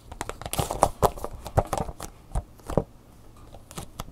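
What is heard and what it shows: Long natural fingernails tap and scratch a hollow, lightweight clear plastic clamshell blister package with a cardboard backing card and an Angry Birds USB flash drive inside, while it is turned in the hands. A quick, irregular run of short, dry, hollow clicks with a mid-range tone mixes with soft scratchy rustles. The sounds thin out to faint scraping near the end before a few last taps.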